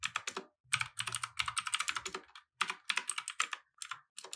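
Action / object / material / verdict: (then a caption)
tap / plastic mechanical keyboard keys / plastic / none. Fingertips type fast and continuously on a compact mechanical keyboard with plastic keycaps resting on a wooden desk. Bright, crisp clacks arrive in quick bursts with almost no low end and very short decay. Brief pauses fall near 0.5, 2.4 and 3.7 seconds.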